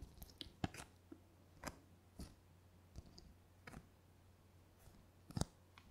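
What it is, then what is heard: Paper brochure. A thin, flat, glossy paper Corsica Linea brochure is held in both hands and scratched and tapped with long painted fingernails. Scattered short, dry clicks and scratchy taps spread across the clip, some brighter and sharper than others, over a quiet steady low hum. Each tap dies away almost instantly.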